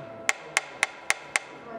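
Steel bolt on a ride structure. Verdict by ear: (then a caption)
Loose. A hammer taps a steel bolt on a roller coaster part five times during a tap inspection, each strike a short, sharp knock with a brief ring around 2 kHz. The bolt is loose and gives a dull sound, so the work is to be redone.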